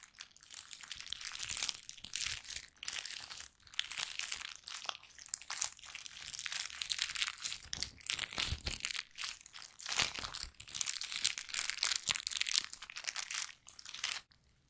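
A thin pink plastic bag is crumpled and squeezed in both hands near the microphone. The result is dense, bright crinkling and crackling that comes in bursts over about 15 seconds, with brief pauses, almost no low end, and a quick fade at the finish.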